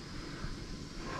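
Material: Nothing is struck.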